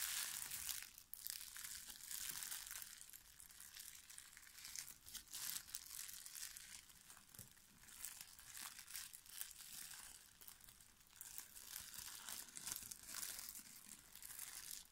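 Loose, clear plastic shrink wrap is crushed and crumpled by the fingertips of both hands above an Unlock! board game box. The result is a continuous, bright crinkling and crackling that swells and eases in waves, with almost no low end.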